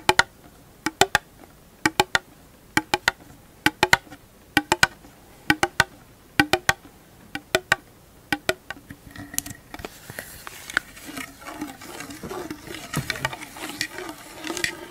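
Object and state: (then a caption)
Plastic compact lid tapped and scratched with nails. A small, hollow, empty round black plastic compact lid with a clear plastic window is held in the hands and tapped with long glittery acrylic nails, giving crisp, bright clicks in quick pairs and triplets. After about nine seconds, the nails scratch across it instead, making a continuous dry, rustling rasp.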